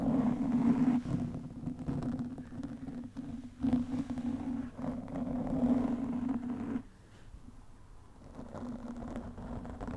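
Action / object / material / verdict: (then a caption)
scrape / foam microphone windscreen / foam / none. Long nails of both hands scratch a black foam windscreen on a studio microphone, producing dense, muffled scratching and rustling over a steady low hum. The scratching is loudest early, drops sharply about two-thirds of the way through, and then resumes more softly.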